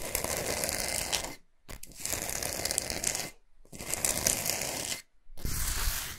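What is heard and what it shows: Long pointed nails scratch fast across the top surface of a large, flat, solid pink Himalayan salt block resting on a fluffy mat. The result is a dense, gritty, bright scratching in four bursts separated by short silences.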